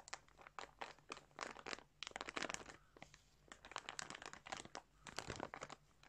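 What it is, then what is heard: Plastic bag of yarn. Fingertips press and rub a large clear plastic bag filled with balls of colourful yarn lying on a surface, crinkling the plastic. Quiet, bright bursts of crackly crinkling come in quick irregular clusters, with short pauses between them. Each crinkle dies away almost instantly, with little low-end weight.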